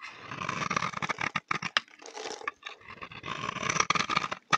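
A utility knife blade scrapes and shaves curls off a solid, dry, cream-colored bar of soap held in the hand. The soap is palm-sized. The result is a series of short, crisp, dry scraping strokes with bright, high hiss and a gritty texture, separated by brief pauses.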